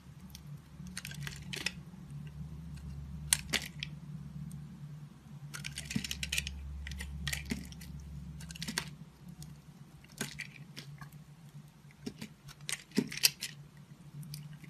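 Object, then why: Bar of soap cut with a knife blade. A red-handled utility knife blade scrapes and slices chunks off a solid purple and pink confetti bar soap held in the hand. Irregular bursts of crisp, bright scraping and short clicky cuts come over a low, steady hum.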